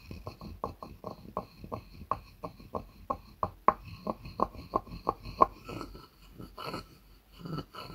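A wooden pestle knocks and rubs inside a light, hollow wooden mortar, giving a series of about eighteen quick, dry knocks with a hollow tone around 1 kHz. The knocks give way to softer, scraping rubs near the end.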